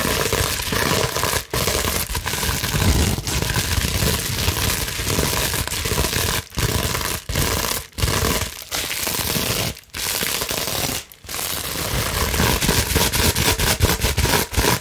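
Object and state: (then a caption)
Plastic bubble wrap scratched. Long nails scratch fast across a large clear plastic bubble wrap sheet, making a dense, continuous broadband rasp with crinkly highs and a heavy low rumble. The scratching runs almost without break, pausing only for a few brief silent gaps.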